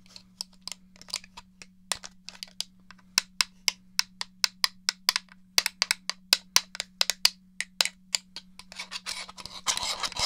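Fingernails scratch and rub the casing of a hollow grey plastic N64 game controller, producing a rapid series of short, bright, dry scratches under a faint steady low hum. Toward the end the separate strokes blur into a denser continuous rubbing noise.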